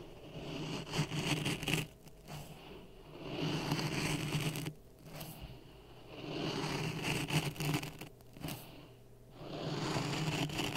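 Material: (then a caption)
Sand. A wooden stick pokes and stirs dry sand in a clear plastic cup resting on a red microphone. The sand gives off gritty, crunchy scraping in rising and falling bursts with brief quieter gaps, over a steady low hum.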